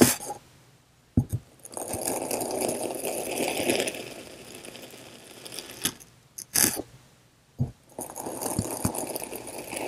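A hand-held steel kitchen knife slowly presses and cuts through a solid slab of blue and green kinetic sand that has already been scored into strips. Soft, grainy crunching and scraping rises and fades in long passes, broken by a few sharp, bright clicks and taps in between.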